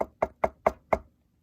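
Five knocks on the metal chassis of a PS Audio DLIII DAC with wooden blocks glued onto it. Each knock is a short, dull, wood-like thud centered around 650 Hz that dies away almost at once, with no metallic ring. The glued blocks have changed the panel's resonance so it sounds like knocking on wood.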